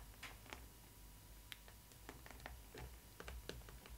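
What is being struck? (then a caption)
Cardboard doll box. Long red nails tap and scratch the printed front of a Disney ILY 4ever Stitch cardboard doll box, near its Stitch cutout. Soft, short, dry clicks with bright edges come at an uneven pace over faint scratching and a low background hum. Each tap dies away almost at once.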